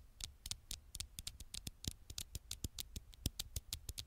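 Fingertips make tiny taps on the glass screen of an old smartphone. A quick, irregular series of short, dry taps is heard, each with a soft low thump and a bright clicky edge that dies away almost instantly at a quiet level.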